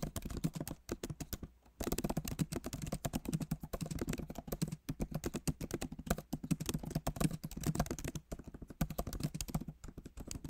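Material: Plastic.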